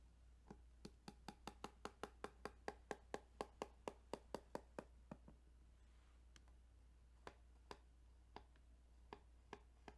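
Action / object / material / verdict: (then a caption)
tap / plastic game cartridge / plastic / none. Fingers tap on the ridges of a plastic Tetris Game Boy cartridge in a quick, even run of sharp, dry clicks for about five seconds. Slower, scattered taps follow over a faint, steady low hum.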